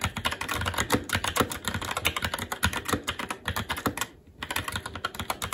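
Fingertips of both hands type continuously on a SteelSeries Apex 7 TKL mechanical keyboard with red linear switches, plastic keycaps and a metal top plate. Rapid, overlapping clacky keystrokes with short, dry decays come in a steady stream, briefly pausing around four seconds before resuming.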